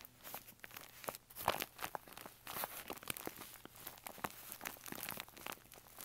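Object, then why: Kraft paper bag. Fingers press, scratch and crinkle the side of a hollow brown kraft paper bag with a rolled top and a snap button, resting on carpet. Dense, bright papery crackles and scratches come in quick, uneven bursts with little low end and no ring.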